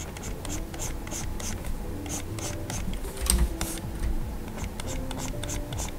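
A plastic stylus nib on a Gaomon PD2200 large pen display with a solid glass screen makes repeated short rubbing strokes while colouring. Soft, dry scratchy swishes come in quick bursts with bright, hissy tops over a steady low hum, with a slightly louder cluster of strokes just past the midpoint.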